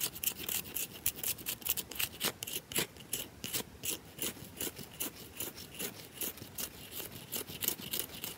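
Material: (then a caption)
Soap. Long nails scratch grooves into the scored top of a round, solid bar of soap. Fast, uneven, dry scraping strokes follow one another in quick bursts, each a bright, hissy rasp with little low end. The scratching stays quiet and steady throughout.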